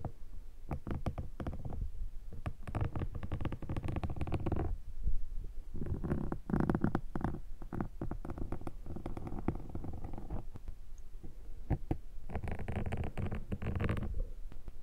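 A thin metal dental-style pick is scratched and scraped across a soft black foam windshield that sits hollow over the capsule of a handheld microphone. The result is a dense, close, low rumbling crackle of rapid scratchy ticks, swelling in muffled bursts with brief quieter gaps between them.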